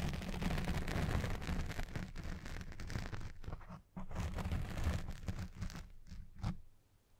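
Fingers and nails scratch and rub the black foam windscreen on a Blue Yeti Pro microphone up close, making dense, crackling scratches over a heavy, boomy low rumble. The rough scratching runs steadily, drops out briefly near the middle, returns, and then fades at the end.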